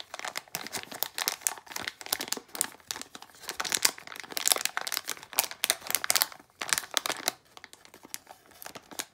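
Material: Plastic foil.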